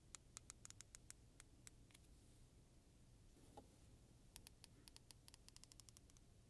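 Long nails and fingertips strum and scratch along the fine and coarse teeth of a medium-size solid black plastic hair comb held in both hands while the comb is flexed. Quiet, sharp, bright ticks come in two quick bursts, separated by a pause with a faint scrape, over a low steady hiss.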